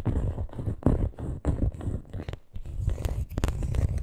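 Long nails scratch and tap across the printed surface of a hollow coated canvas handbag. The result is a run of soft, muffled, low-heavy scrapes and dull taps in uneven bursts, with brief quiet gaps between them.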